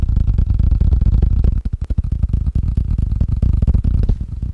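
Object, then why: Wood and rubber ping pong paddle. A wood and rubber ping pong paddle is tapped quickly, giving a rapid, uneven run of dull, low, muffled thuds, roughly four per second. Each tap dies away almost at once, with nearly all the sound deep in the bass and no bright click on top.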